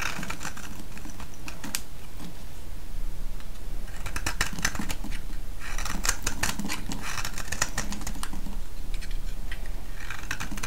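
A solid vintage green soap bar held in the hand is shaved with a metal blade, with curls cracking off. Quick, dry, crisp crackles and scraping clicks come in bright bursts over a steady low hum.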